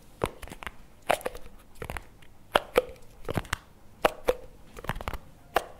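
A small, round, full-looking plastic jar of chocolate spread with a printed label and lid is held in both hands and tapped and scratched with fingertips and nails on the lid and sides. Sharp, irregular taps with a short hollow plastic knock around 600 Hz alternate with soft, crunchy scratching. Each tap dies away almost instantly.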